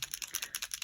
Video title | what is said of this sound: How to use ... Wink of Stella | You can hear that there's a ball in there that agitates the ink and the shimmer.